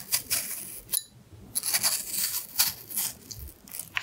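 A carving knife scrapes the skin of a solid red apple, working between carved heart shapes. Short, bright, crisp scraping strokes come in quick bursts separated by brief pauses, each one dry with almost no ring.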